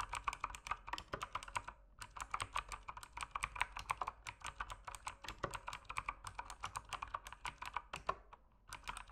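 Fingertips type steadily on an RGB mechanical keyboard with plastic keycaps. The result is a fast run of sharp, dry, clacky keystrokes with a bright edge and little low end. Brief pauses come around two, six and eight and a half seconds.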